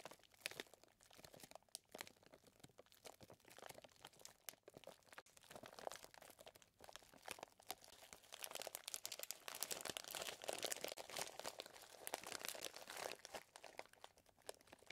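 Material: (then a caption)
Plastic. Fingertips squeeze a clear plastic zip bag full of small chocolate chips, then the bag is lifted and held, giving a quiet, steady stream of bright, dry crinkling and crunching with almost no low end. The rustling grows denser and louder in the second half before easing off near the end.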